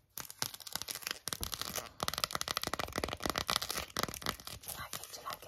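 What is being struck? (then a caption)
Silicone phone case. Long acrylic nails rapidly tap and scratch an empty, hollow, small green silicone phone case. The result is a dense run of crisp, dry clicks mixed with bright, scratchy rasps that have little low end and almost no ring.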